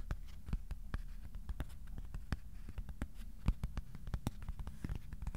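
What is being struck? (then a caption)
Thin cardboard sheet. A thin white cardboard sheet is held in both hands while fingertips tap its underside. The result is a steady patter of quick, dull taps that die away almost instantly, with a soft, low body under them.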